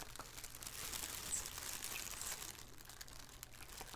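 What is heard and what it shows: A thin black plastic shower cap with an elastic edge, hollow and empty, lies on a wooden table while two hands with painted fingernails crinkle and scrunch it. The result is a soft, continuous bright crinkling with irregular crackly rustles over a faint low hum, swelling slightly in the middle before easing off.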